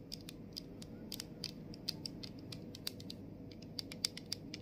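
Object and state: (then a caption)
Plastic mist bottle tapped and scratched. Fingernails tap and scratch on the body of a plastic body mist bottle, then move to the top of its clear plastic cap. The result is a quiet run of short, sharp, bright clicks and ticks that die away almost instantly, over a steady low background rumble.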